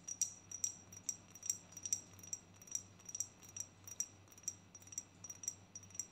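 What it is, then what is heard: Glass perfume bottle tapped with fingernails. A pink-striped rectangular perfume bottle, likely glass, is held in both hands and tapped with long nails. The taps are quick, quiet, bright clicks in an uneven rhythm, each with a brief high glassy ping that dies away almost at once over a faint low hum.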